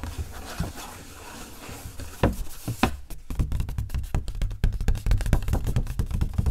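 Long nails tap and scratch the front of an empty, medium-sized printed coated paper gift bag with a flamingo print, and the bag is opened at the end. Soft rustling scratches give way to rapid, irregular, dry taps with short, dull thuds and almost no ring.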